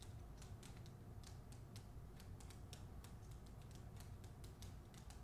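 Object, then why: Hardcover book with glossy paper dust jacket. Long acrylic nails tap and scratch the front cover of a solid, hand-sized hardcover book, *The Man Who Could Move Clouds*, held upright in a glossy paper dust jacket. Quick, bright clicks and scratches come in an uneven rhythm over a steady low hum that carries most of the energy. The taps stay faint and at an even level throughout.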